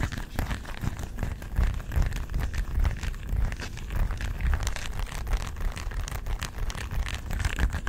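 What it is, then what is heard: Plastic remote control tapped and scratched with nails. A small, flat plastic LED remote control with colored rubber buttons is held in one hand close to the mic and tapped and scratched with long nails. The result is a steady, dense stream of crackly taps and scratches over a heavy low, close-mic rumble, with bright clicks scattered throughout.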